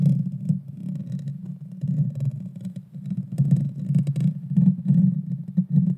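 Long dark fingernails scratch the small, hollow, round metal mesh grille of a Blue Yeti Nano microphone. The result is a dense, continuous low rumbling scrape with faint crackly ticks above it, swelling and fading unevenly throughout.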